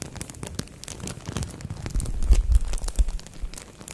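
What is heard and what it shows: A thin green-and-white printed plastic bag wrapped around a microphone head is squeezed, rubbed and crinkled with long nails and fingertips. Dense, hollow crinkling and scratchy rustles continue throughout, with deep low-end thumps that swell in the middle of the clip.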